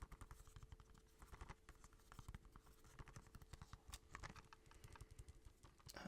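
Rapid, light tapping on a plastic Kiki's Delivery Service movie case. The taps are quick and dull, with no ring, and they run in an uneven, steady patter throughout.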